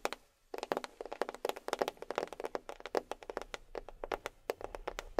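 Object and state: Box tapped with fingernails.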